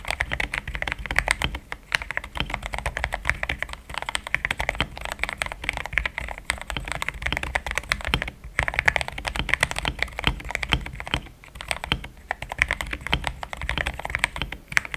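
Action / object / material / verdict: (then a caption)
tap / mechanical keyboard with plastic keycaps / plastic / none. Fingertips type in steady, rapid taps on a pink-framed compact mechanical keyboard with thick cream XDA plastic keycaps, a polycarbonate plate, linear switches and a hollow case. Each keystroke gives a short, clacky tap with a bright midrange click over a low, hollow thock. Brief pauses break up the otherwise continuous run of keystrokes.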